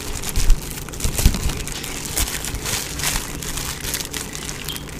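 A clear plastic bubble wrap sheet is held and crumpled in both hands while fingers pop the bubbles and crinkle the film. The result is a steady, bright crinkling texture broken by sharp pops and short crackles, over a low rumbling undertone.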